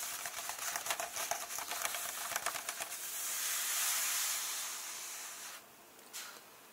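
Fingertips and nails tap across the pages of a large paper book held open at the dedication page, making quick, irregular, bright clicks over a papery hiss. The tapping gives way to a smooth, steady rub across the flat paper, swelling into a soft, high whoosh before it fades. A single short scratch follows as it trails off.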